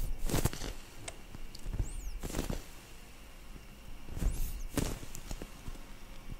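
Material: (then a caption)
Foam. Long nails tap and scratch the surface of a solid, soft, yellow-orange foam squishy bread toy held in both hands in front of the mic. Soft, muffled thuds mix with dry scratching and brief bright crackles over a low, steady rumble.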